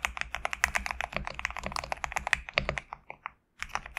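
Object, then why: Mechanical keyboard with PBT plastic keycaps. Fingertips type quickly on a GMK67 compact mechanical keyboard with PBT plastic keycaps resting on a desk mat. The result is a rapid run of short, crisp, bright clacks with almost no ring, a brief pause near the end, and then a few more keystrokes.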